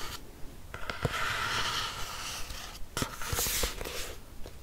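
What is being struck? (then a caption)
Hardcover notebook cover. Long nails scratch across the front and back covers of a black hardcover notebook. The result is a dry, rasping scratch with a bright hiss, broken by a few short, dull taps against the hard cover.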